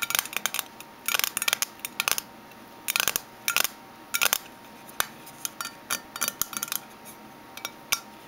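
Fingernails tap on a metal Minteas mint tin, making quick bursts of bright, sharp metallic clicks separated by short pauses. Each tap is dry and dies away almost instantly, with no low end beneath the high, tinny clatter.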